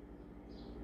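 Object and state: Nothing is struck.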